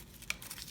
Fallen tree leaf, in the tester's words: There is nothing inside. You hear how crispy it is?